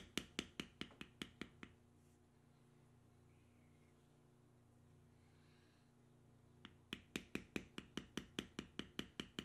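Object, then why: Vegetable-tanned leather strip struck with a metal stamp. A metal stamp held upright in the fingers is tapped repeatedly into a solid tan vegetable-tanned leather strip with knotwork, resting on a stone surface. Twenty-two short, sharp, bright taps come in two bursts, a quick run of about seven and then about fifteen, with no ring. Between the bursts a pause of several seconds holds only a faint, steady low hum.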